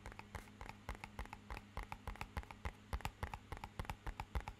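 Fingernails tap rapidly along the face of a small, rigid, hollow, matte-black rectangular cardboard box. The result is a quick, uneven run of about 27 short, dry clicks with bright attacks that die away almost instantly. A steady low hum sits underneath.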